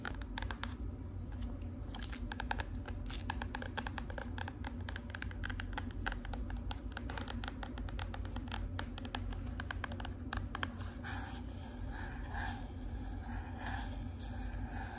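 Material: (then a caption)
Cardboard. Long pink acrylic nails tap and scratch the flat, black-and-green marbled hard cardboard cover of a composition notebook held upright. The result is a steady run of quick, dry clicks and scratchy strokes over a low, constant hum, with a few brighter, resonant taps near the end.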